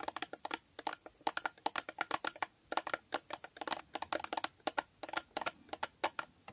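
A small, hollow cardboard box with a holographic foil finish is tapped with long nails and turned to show its narrow side. About 36 quick, dry, hollow clicks come in an uneven rapid run, each centered near 890 Hz with a bright edge and no low end. Each dies away almost at once.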